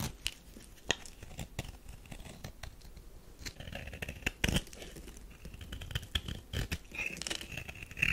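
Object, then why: Bar of soap scraped by a metal knife. A metal knife scrapes crumbly shavings from a thin slab of tan bar soap held in the palm. Dry, crackly scraping and tearing sounds are broken by sharp clicks, with a bright ringing tone near 2–3 kHz. The crunches get louder and denser toward the end.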